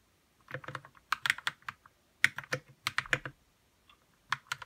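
Fingertips type on a white RK61 60% mechanical keyboard with plastic keycaps, lubed red switches and a hollow plastic case. Bursts of quick, bright, clacky keystrokes come with short pauses in between. Each stroke cuts off almost at once.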